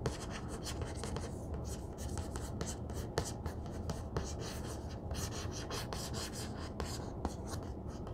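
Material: Cloth.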